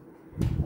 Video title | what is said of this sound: Cream Puffs Nikmat Tak Terkata Dalam Keadaan Sejuk Beku! @ chikahchikchopchannel5306 | Bunyi macam kosong kan? Tu maknanya dah berjayalah kuih kita ni.